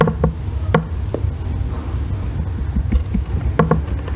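A solid green Palmolive bar soap lying on a white box is scraped and shaved with a thin metal blackhead-remover tool held in the fingers, with long red nails resting on the bar. Low, muffled scraping runs throughout, broken by short tapping clicks with a faint pitched ring, clustered near the start and end.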